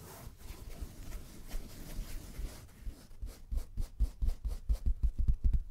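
A dark grey, book-sized solid block of acoustic-style foam is held in both hands and rubbed and scratched with the fingertips close to a microphone. A soft, steady brushing rub runs for the first half, then gives way to about a dozen quick rhythmic scratching strokes with a dull, low-heavy texture.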